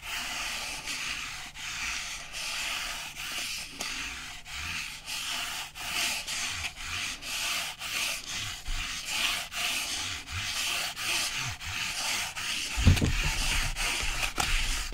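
A flat rectangular piece of brown corrugated-style cardboard, held upright in both hands, is scratched and rubbed with fingertips and nails. It makes a steady series of bright, papery scratching strokes, roughly one every second or so. Near the end, a louder, deeper scuff stands out.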